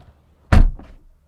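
A 2022 Porsche Taycan car door is slammed shut from inside the vehicle, making a single deep, solid thunk with almost all of its energy at low frequencies. A brief, softer rattle follows before the sound dies away, and the door closes firmly as expected.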